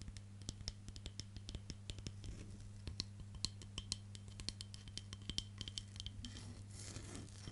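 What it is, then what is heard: Wooden hairbrush back, tapped and scratched with nails. Long nails tap and scratch the solid, light wooden back of a hand-sized hairbrush. A quick run of sharp, dry clicks with a bright, high tick rises over a steady low hum. It ends in a denser, brushier scratching on the wood.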